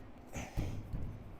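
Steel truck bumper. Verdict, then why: Hollow. A knock on the huge steel front bumper of a 1990 F350 with a 7.3 IDI, a truck that sat for six years, with no welds visible on the bumper's end. It gives a dull, low thud centered around 100 Hz that dies away quickly. Despite its size, the bumper sounds hollow.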